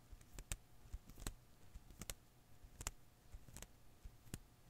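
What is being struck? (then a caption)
Rubber-filament Koosh ball. A hand-sized blue and green rubber-filament Koosh ball is held in one hand while the other hand's fingertips and nails pluck and snap its strands. The result is about eight quiet, very short, sharp clicks at an uneven pace, bright at the top, over a soft low rumble.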